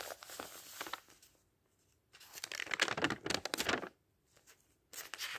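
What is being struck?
Thin printed paper pages of a thick dictionary.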